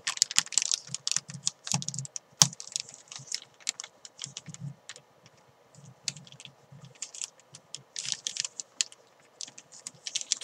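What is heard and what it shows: Fingertips with long painted nails tap and crinkle a small clear plastic zip-lock bag holding a soft, filled white chalk ball, while the fabric chalk bag beside it is left untouched. The clip is a quick, irregular run of bright, crisp plastic crinkles and short clicking taps, with soft low thuds under some touches and brief pauses between bursts.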